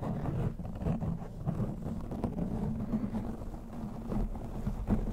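Fingertips and short nails of both hands rub and scratch a soft, fist-sized black foam windscreen fitted over a round microphone head, gripping its sides and then the top. The result is a continuous, muffled, rumbling scrape, heavy in the lows with a faint tone near 220 Hz and almost nothing bright, swelling in soft bursts throughout.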